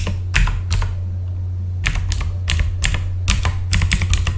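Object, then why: Mechanical computer keyboard with plastic keycaps. A full-size backlit mechanical computer keyboard with plastic keycaps is typed on with the fingertips of both hands. Bright, clicky keystrokes land in irregular bursts and clusters over a steady low hum.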